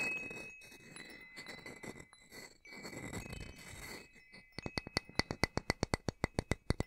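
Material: Metal.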